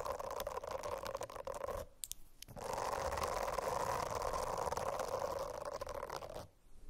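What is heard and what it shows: Long acrylic nails scratch across the dense small bristles of a rainbow-striped silicone notebook cover. A continuous, fizzy rasping with a steady mid-pitched tone breaks off briefly around the two-second mark, then resumes and runs until just before the end.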